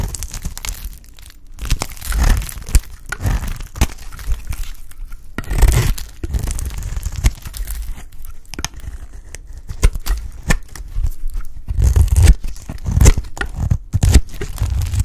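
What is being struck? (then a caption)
Bar of soap shaved with a blade. A bright green solid bar of dry soap, held in the hand, is shaved into pieces with a utility knife blade. Dense, crackly scraping and tearing crunches repeat throughout, with short sharp cracks as flakes break away. The sound is mostly low and thuddy, with quick bright crackles on each cut.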